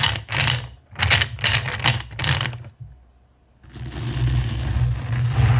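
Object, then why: Pile of small plastic acrylic gems in a bowl. Fingertips with short painted nails stir and rake a pile of small, clear, faceted acrylic gems filling a black bowl, so the plastic pieces click against each other. Bright, rattling bursts of clicks come in quick waves. After a brief near-silent pause, the clicking returns as a steady, continuous rustling clatter.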